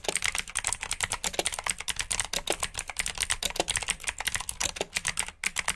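Fingertips with short nails type steadily on a full-size black plastic mechanical keyboard with RGB backlit keycaps, clicky blue switches and hollow key housings. Rapid, crisp clicks follow one another with almost no ring, bright and clacky, with little low end.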